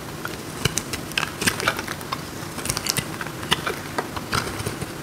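A metal knife cuts and scrapes a hand-sized solid block of dry marbled soap, breaking off crumbly pieces. Short, dry, bright crunches and clicks come in an irregular patter over a low background hiss. Each crackle stops almost instantly.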